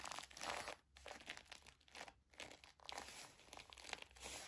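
Long nails and fingertips scratch and rub the sequin bow and glitter ears of a sequin and glitter fabric mouse-ear headband. The result is a steady stream of fast, bright, crinkly scratches in quick bursts with short pauses between them.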